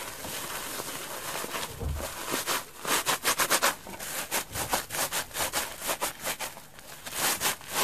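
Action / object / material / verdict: scrape / wet rubber bath sponge / rubber / none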